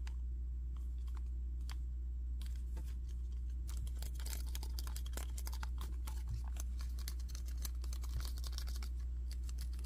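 Fingernails tap and scratch the back and front plates of a red and black plastic action figure with a rounded, hollow-looking body and yellow tubes. Many sharp, bright clicks and scrapes come in an irregular, rapid patter over a steady low hum that holds level throughout.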